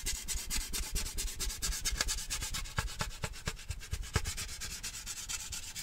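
Fingertips and nails rub and scratch the side of a large, lidded, handheld cylindrical metal cheese-puff tin decorated with a puppy print. A fast, uneven run of dry, bright scraping strokes rides over a low, hollow rumble. Each stroke stops short with no ringing.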